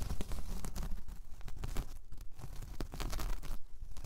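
Long painted nails scratch across a large, flat, solid round coaster of braided jute or straw. The result is a continuous dry, crunchy rasp made of many quick, closely packed scrapes with a deep, low-heavy texture and a bright crackle on top. Each stroke fades almost instantly.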